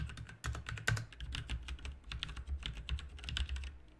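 A full-size backlit plastic mechanical RGB keyboard with plastic keycaps is typed on with the fingertips of both hands. It gives a steady run of bright, clicky keystrokes over a low hum.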